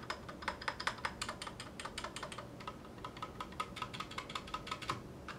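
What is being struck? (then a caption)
Mechanical keyboard with ABS plastic keycaps. A 60% Clueboard mechanical keyboard with Zealios V2 62g switches, a metal case and GMK ABS plastic keycaps sits on a cutting mat while individual keys are pressed with one hand's fingertips. About thirty short, bright, clacky keystrokes come in an uneven rhythm, each dying away almost at once over a faint low background hiss.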